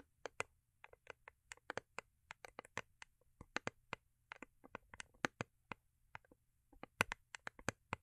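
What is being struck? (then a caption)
Foil-covered cardboard gift box. Long acrylic nails tap and scratch a small, hollow, rigid cardboard gift box with a holographic foil-paper covering, held in the hands. Quick, dry clicks come in uneven bursts with faint scratchy rustles between them, each tap bright and dying away almost instantly. The strikes are soft overall, with a low, steady hum underneath.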